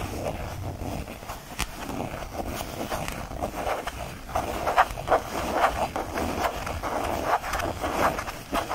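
A small purple faux leather change purse rests in the palm while a fingertip and nails scratch and rub quickly across its surface. The result is a continuous, dry scratching texture centered in the midrange, with sharper, louder strokes standing out in the second half.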